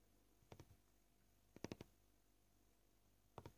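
Short purple-painted fingernails gently tap a solid, flat white plastic cutting board with knife scratches, seen edge-on, at a slow and fast pace. Nine quiet, dry clicks come in three small clusters separated by near silence, each tap dying away instantly with a soft low thud under a light tick.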